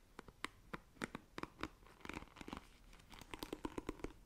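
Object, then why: Plastic paddle hairbrush bristles. Long nails scratch across the plastic bristles of a black plastic paddle hairbrush, making a quiet, rapid series of short, sharp clicking and crackling scrapes. Each tick is dry and bright with almost no ring, stopping instantly before the next one.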